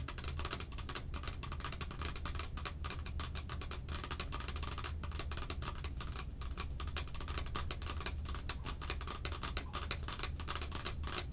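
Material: Plastic.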